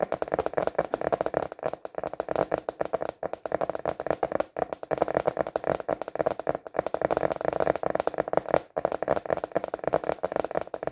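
Fingertips tap fast and continuously on a thin, translucent rectangular clear plastic container lid held upright in both hands. The result is a dense stream of short, dry, hollow clicks centered in the mids around 600 Hz, with almost no low end, no ring, and brief pauses between bursts.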